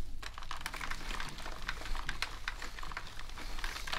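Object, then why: Plastic computer keyboard. A natural sponge held in a gloved hand rubs across the keycaps of a full-size black plastic gaming keyboard resting on a table. Quick, dry rustling scrapes and light plastic clicks tumble over one another continuously, above a steady low hum.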